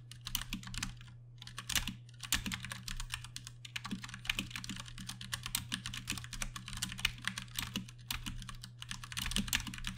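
Fast typing with the fingertips of both hands on a compact 60% Ducky One 2 Mini mechanical keyboard with plastic keycaps and Cherry MX Brown switches. A dense run of bright, clacky key presses with short, crisp decays and brief pauses sits over a steady low hum.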